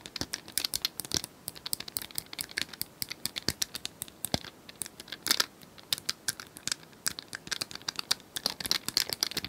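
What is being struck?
Small plastic cylindrical puzzle toy.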